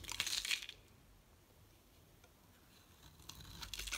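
A metal utility knife blade scrapes and shaves a solid, bright green rectangular Loles bar soap, building up curls of soap. Bright, crisp scraping and crinkling comes in a burst at the start, falls to near silence, then returns in a second run of scrapes toward the end.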